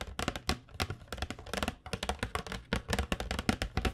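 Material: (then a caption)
Cardboard. Long nails tap rapidly across the surface of a flat cardboard box of acrylic paint pens held in both hands. The taps are short, dry knocks with a hollow low thump and a crisp, bright click on top, dying away instantly with no ring. They come in an uneven, steady patter throughout.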